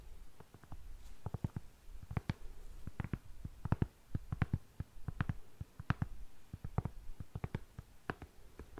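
A black lace espadrille with a jute sole is held sole-edge forward while long nails scratch across the braided jute sole and the lace. The result is a quiet, rapid series of short, dry scratching clicks with a soft, low-heavy rasp between them.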